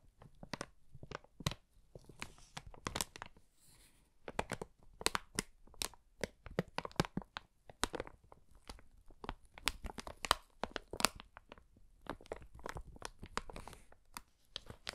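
An empty, wrinkled brown kraft paper bag with handles is held in both hands and crinkled and rubbed with the fingertips. Dense, sharp crackles and crisp tearing-like crinkles come in quick bursts separated by brief pauses. Each snap is short and dry, spanning low rustle to bright, papery highs at a soft overall level.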